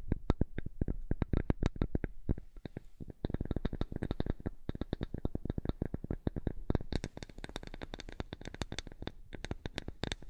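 A flat, thin, light wooden strip is held in the hands close to the microphone and tapped and scratched with long nails. The result is a fast, steady stream of short, dry clicks with a soft low thump under each. The taps grow brighter and crisper in the last few seconds.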